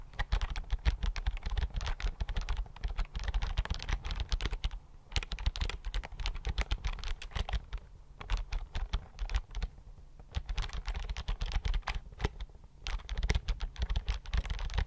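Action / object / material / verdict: tap / plastic computer keyboard / plastic / none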